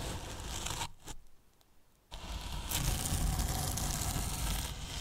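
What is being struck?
Polyethylene foam box.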